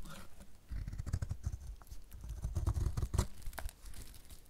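A metal utility blade shaves thick curls from the corner of a solid, dry yellow bar of soap in repeated strokes. Each stroke gives a dry, low, crunchy scrape with brief bright crackles and no ring, after a quiet start.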